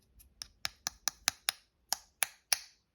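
Nine sharp, bright taps on the polymer handle of a Hogue Deka folding knife, each a dry click that dies away almost instantly. The handle sounds hollow, and the polymer feels cheap and light.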